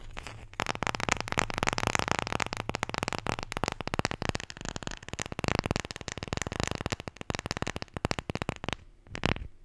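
A wooden Scrabble letter tile, the J, is tapped and scratched in a rapid, dense run of dry clicks and crackly scraping that spreads across the range from low thumps to bright edges. Each sound dies away almost instantly. The activity briefly thins near the end before a last short burst.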